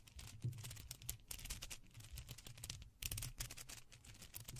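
Two long strands of white faux pearl beads, likely plastic, are held up on either side of a microphone and shaken and fiddled with fingertips. They make rapid, dense bead-on-bead clicking with bright, crisp transients over a soft low rumble. The clicking dips briefly just before the three-second mark, then picks up again.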